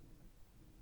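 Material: Nothing is struck.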